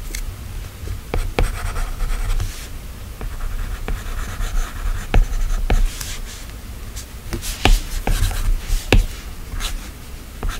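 A plastic stylus tip taps and scratches short strokes across the solid glass screen of an iPad. Sharp, clicky taps stand out over soft, dry scratching and a steady low hum underneath.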